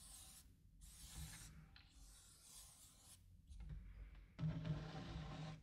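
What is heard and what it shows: Fingertips and palms rub and scratch across the printed surface of a large, shallow, open wooden serving tray with raised edges and a bird design printed on its flat base. The result is soft, breathy bursts of bright, hissy friction over a low rumble, with a louder, rougher stretch of scratching near the end.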